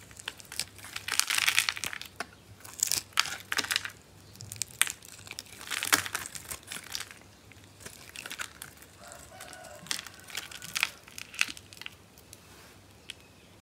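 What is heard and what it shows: A solid yellow bar of dry soap, held in the hand, is carved with a metal blade, and small cubes fall off as it is cut. The cuts make dry, bright crackling and crumbly scraping bursts with almost no low end, some longer rasping strokes, and quieter stretches between them. At the end the bar rests on the table among the chips.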